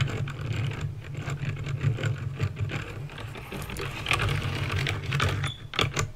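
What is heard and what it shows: Fingertips with painted nails type steadily on a backlit plastic mechanical keyboard with clicky green switches. A continuous run of sharp, bright clicks and clacks rises and falls over a steady low hum around 109 Hz.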